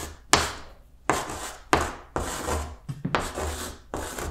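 Blue chalk writes numbers on a green chalkboard in a series of separate strokes. Each stroke begins with a sharp tap and turns into a bright, gritty scratch that fades before the next one starts.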